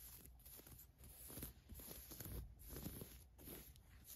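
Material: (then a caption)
Polyester mesh. A hand with long nails rubs, scratches and handles white paisley polyester mesh basketball shorts with a ribbed waistband. The result is soft, irregular scratchy swishes and rustles, weighted low, over a faint steady high hiss.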